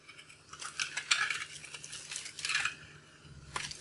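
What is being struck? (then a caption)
Soap bar shaved with a thin metal blade. A hand-sized bar of dried, starch-coated soap, blue, pink and purple outside and yellow inside, is held in one hand and shaved with a thin metal blade. Bright, crunchy scraping and cutting crackles come in bursts as crunchy yellow chunks break off, with little low end.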